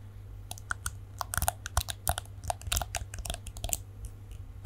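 A palm-sized plastic detangling hairbrush with a shiny chrome-coloured plastic back and dense plastic bristles is held in both hands close to the mic while fingernails flick and scratch along the bristles. The result is rapid, irregular bursts of dry, bright clicking and crackling over a steady low hum.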